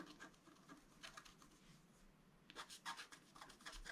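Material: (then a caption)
Coated paper. A wooden stylus scratches fine lines into a flat, black-coated scratch art card, about A4 size, resting on a table. Soft, bright rasping strokes come in quick bursts, faint through the first half and then louder and sharper in the second half.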